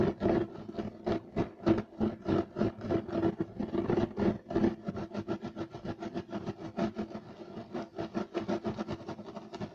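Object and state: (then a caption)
Woven loop-pile carpet being scratched. Short nails of both hands scratch fast across a flat, solid beige striped woven loop-pile carpet. The result is a dense run of dry, rasping strokes at roughly three per second in an uneven rhythm, with a muffled low-mid body and little high-end brightness.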